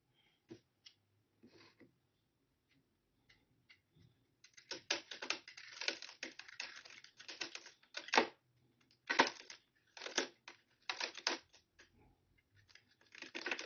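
An old, dry green bar of soap held in the hand over a clear plastic tray is shaved and cut with a metal utility-knife blade into crumbly flakes. A few sparse, crisp scrapes are followed by dense bursts of dry, bright crunching and scraping, with short pauses between strokes.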